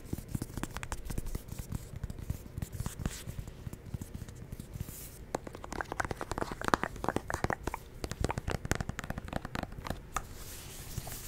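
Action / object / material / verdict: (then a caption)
scrape / plastic pump bottle / plastic / none. Fingernails scratch and tap a medium white plastic CeraVe moisturizing lotion bottle with a pump, hollow and held in one hand beside the microphone. The result is a dense, continuous stream of quiet, dry scratches and short clicking taps with almost no ring.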